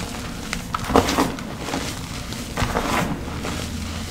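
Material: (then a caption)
Chalk. Bare fingertips and hands dig into a large black bowl of loose, crumbly crushed teal gym chalk powder and small reformed chalk chunks, squeezing and rubbing it. Soft, dry crunches and crumbling crackles rise over a low, steady rumble, with brighter bursts near the start and again toward the end as the chalk breaks apart.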